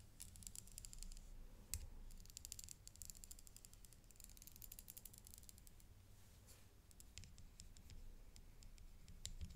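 A dark stick taps the set rhinestones on a silver-tone metal chain necklace with three flower clusters, resting on black cloth and held by gloved hands. Many quick, bright clicking ticks come in dense bursts with brief pauses, each dying away almost instantly. A soft low rumble sits underneath throughout.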